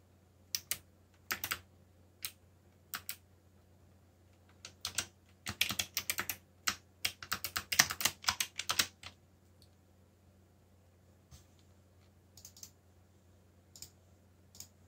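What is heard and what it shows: Fingertips type on a backlit mechanical keyboard with black plastic keycaps, making sharp, bright clicks with a very short decay. The keystrokes come in irregular bursts, with a dense flurry in the middle that thins to scattered taps toward the end. A faint, steady low hum runs underneath.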